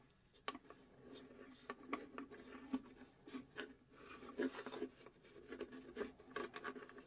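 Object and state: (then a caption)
Plywood puzzle box, scratched and tapped. Long acrylic nails scratch and tap across the engraved flat plywood back panel of a hollow UGEARS plywood puzzle safe box. Soft, dry rasping alternates with short, quick hollow taps that carry a mid-low woody tone and die away almost at once.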